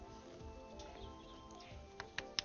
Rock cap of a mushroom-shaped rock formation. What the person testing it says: when I tap it, it sounds hard as well